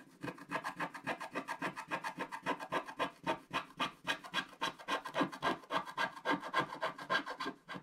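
A wooden stylus scratches the coating off a flat, black-coated scratch-art paper page in dense strokes. The result is a steady, rapid run of dry, rasping scrapes, about three or four per second, centered in the midrange around 1.6 kHz with a bright hiss on top and almost no low end. Each stroke stops short with no ring.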